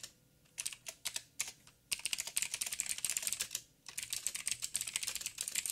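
Fingertips of both hands type on a backlit 87-key mechanical keyboard with plastic keycaps and clicky blue switches. A few separate keystrokes come first, then a fast, dense run of bright, sharp clicks that breaks off briefly near the four-second mark and picks up again. Each click is crisp and high with almost no ring, and there is very little low end.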